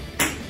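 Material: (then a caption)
Frozen rubber. A rubber racquetball frozen in liquid nitrogen bounces once on the floor, giving a single bright, glassy ping that rings for about a fifth of a second. The frozen ball does not break on this bounce, showing it has turned hard and brittle.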